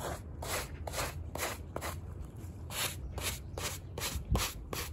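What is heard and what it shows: A gloved hand scrubs a small, wet, muddy woven rug covered in foam with a handheld stiff-bristle brush, using long straight strokes. Each stroke makes a bright, scratchy rubbing swish over a steady low rumble.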